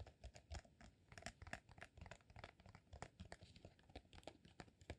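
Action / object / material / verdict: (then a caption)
tap / rolled beeswax sheet / beeswax / none. A solid cylinder of rolled green, honeycomb-textured beeswax sheet is tapped rapidly and irregularly with fingertips and short nails. The taps are quiet, soft and dull, with a low thump and short crinkly clicks that die away almost at once.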